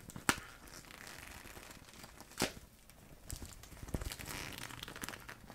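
A transparent plastic zipper pouch full of small paint tubes is crinkled and squeezed between both hands with long nails. Bright plastic crinkling mixes with the shifting of the tubes inside. Two sharp crackles stand out early, followed by a denser stretch of rustling.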